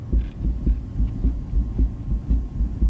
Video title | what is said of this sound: Getting farm equipment prepped for next year already??? | when I put my foot on the bottom of the wheel and pull on the top of the wheel you hear that thump there is some slop in this wheel bearing